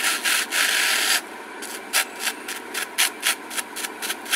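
A purple glitter craft foam sheet is rolled and folded in the hands while long nails rub and scratch its glitter surface. The clip opens with just over a second of loud, bright, hissing rubbing, then drops to a quieter crackle punctuated by about nine short, crisp, high scratches at an uneven pace.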